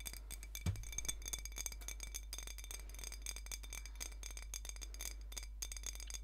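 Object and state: Glass soda bottle.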